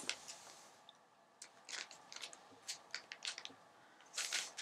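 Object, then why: Glossy paper magazine page. Long manicured nails and fingertips tap and scratch across the calendar page of an open glossy paper magazine lying flat, its pages water-damaged and sun-dried. Quiet, bright, crisp crackles and crinkles come in short scattered bursts with almost no low end, ending in a denser burst of scratching.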